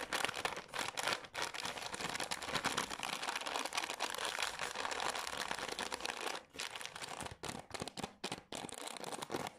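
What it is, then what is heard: Plastic wipes packet. A green Garnier cleansing wipes pack of soft plastic, apparently full, is scratched and tapped with long nails and crinkled in the hands and on a table. The result is a dense, bright crinkling and scratching texture with quick crackles and brief pauses near the end.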